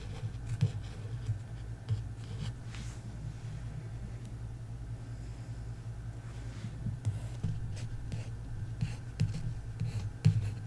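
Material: Card, paper.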